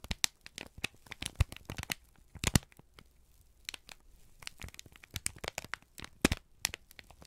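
A folded, crinkled sheet of brown kraft paper is held in both hands and squeezed, bent and crumpled with the fingertips. Quick, sharp crackles and crinkles burst across the range from low thumps to bright highs. The crackling comes in dense clusters with a quieter stretch in the middle.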